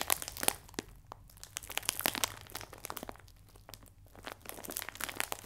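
A clear plastic film bag full of biscuits is held upright and pressed and rubbed with fingertips and nails. It gives bright, dense crinkling and sharp crackles in quick bursts, with quieter rustling in between.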